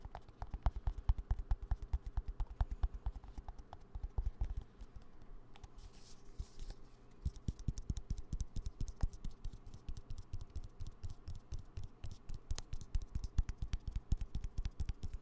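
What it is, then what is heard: Plastic cream tube. A small, hollow green plastic cosmetic cream tube is held close to the microphone and tapped rapidly with fingertips and nails. The result is dense, irregular, dry clicking taps with very short decay and a low, hollow body. There is a brief lull around six to seven seconds before the tapping resumes.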